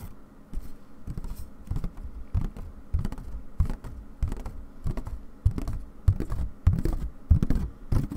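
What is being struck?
Wooden embroidery hoop with stretched cloth.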